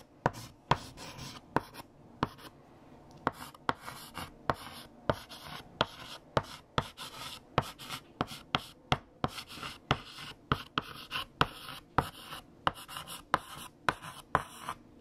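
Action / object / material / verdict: scrape / chalk on a chalkboard / chalk / none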